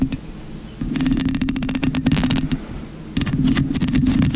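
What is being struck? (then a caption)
Foam microphone windscreen. Long pink acrylic nails on one hand scratch and rub a black, soft porous foam windscreen covering a microphone. The result is bursts of dense, rough scratching with a low rumble and crisp bright ticks, separated by a quieter muffled stretch.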